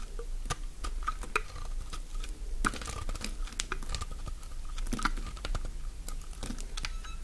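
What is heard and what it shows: A utility-knife blade shaves strips along the length of a solid, elongated green bar of dry soap held in the hand. Crisp, dry scraping and rapid crackling clicks repeat steadily over a low background rumble, with a faint ringing tone around 1.4 kHz.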